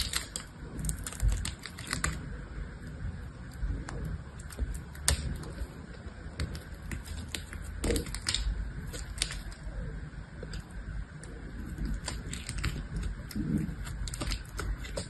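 A small knife blade cuts and scrapes brittle chunks off a dry, solid green soap bar that is mostly shaved down and held in one hand, over a pile of soap shavings. Quick, crunchy scraping clicks with bright crackle repeat throughout over a low, steady rumble.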